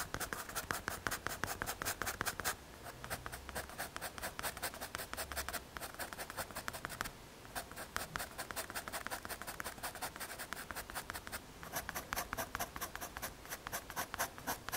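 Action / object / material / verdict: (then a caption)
scrape / pencil on MDF board / MDF / none. A pencil tip scratches and draws lines across a small, solid, square brown MDF or hardboard panel held in the fingers. Rapid, dry scratching strokes come in dense runs with bright, hissy edges, pausing briefly near 2.5, 7 and 11.5 seconds.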